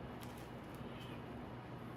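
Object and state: Nothing is struck.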